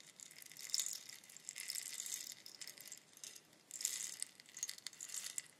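A long hollow bamboo rainstick, held in both hands with long nails, is tilted so its fill cascades through the tube. It gives a bright, hissing rattle of many tiny clicks that swells and fades in waves, with almost nothing in the low end.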